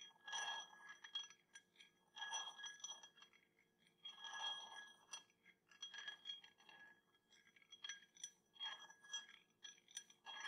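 A small round clear glass tumbler, partly filled with water, is tapped on the rim and side with a metal teaspoon held in the fingers, with a second glass standing untouched nearby. The taps come as repeated light clinks in loose clusters, each giving a short, bright ring near 3.3 kHz with a fainter tone around 1.6 kHz.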